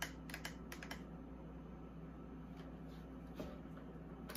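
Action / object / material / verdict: tap / plastic mini fridge door liner / plastic / none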